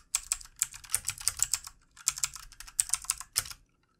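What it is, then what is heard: Plastic computer keyboard. Fingertips of both hands type on the keys of a backlit plastic computer keyboard, producing quick, bright clicking taps. Two bursts of rapid keystrokes are separated by a brief pause near the middle, each tap short and crisp with little low-end weight.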